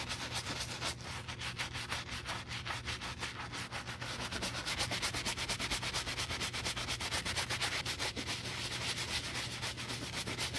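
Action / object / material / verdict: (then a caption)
scrape / leather cowboy boot heel with bristle brush / leather / none. A wooden bristle brush scrubs the foamy heel counter of a brown leather cowboy boot in quick wet strokes, close to three per second. Each stroke gives a bright, hissing scrub with a soft squelch of foam, over a faint steady low hum.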